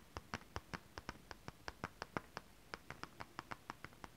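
One hand with long rhinestone acrylic nails scratches and taps holographic mermaid scale fabric in close-up. It makes 22 quick, crisp clicks with a bright edge, each dying away almost at once over a soft, quiet background.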